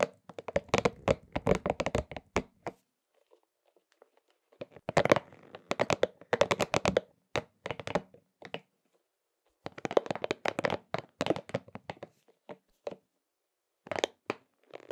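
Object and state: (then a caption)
Rubber spiky massage ball. A pink, hollow, soft rubber spiky massage ball is squeezed, rubbed and tapped between both hands. The result is bursts of quick, dry crackly taps and rubbing squeaks centered in the midrange, with short tails. They come in clusters separated by near-silent pauses.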